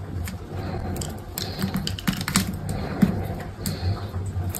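A solid, dry green soap bar, scored in a grid pattern and held in the hand, is cut by an orange-handled utility knife blade that scrapes small cubes off it. Short, dry crackling cuts and scrapes sound over a low rumble, with brief bright clicks scattered throughout.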